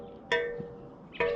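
Two steel spokes on a mountain bike wheel are plucked one after the other, each giving a short metallic twang with a clear pitch near 470 Hz that rings briefly. One spoke sounds low, and a tension meter confirms it reads 16 while the others read above 20, so it is loose and needs tightening.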